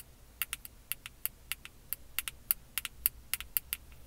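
Long acrylic nails tap and scratch a small, flat, square black plastic makeup compact, probably hollow, held close up. About seventeen sharp, bright clicks come in an uneven rhythm, each dying away almost instantly, over a faint low background hum.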